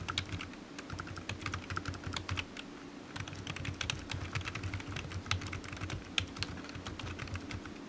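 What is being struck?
Plastic computer keyboard.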